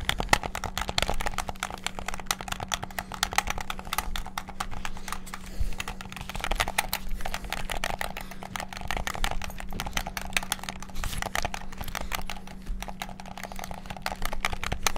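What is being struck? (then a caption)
Plastic game controller. Fingertips rapidly tap the buttons of a white and black hollow plastic PS5-style gamepad. The result is a dense, continuous stream of quick, dry plastic clicks with bright edges, over a steady low hum.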